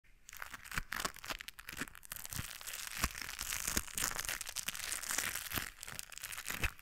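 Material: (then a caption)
Rubber. A pair of white knit work gloves with a blue textured rubber coating, worn on both hands, has the gloved fingers rubbing and crinkling against each other close to a microphone without touching it. The sound is a steady, bright, dry crinkling and scratchy tearing texture, broken by many quick sharp clicks that die away almost at once.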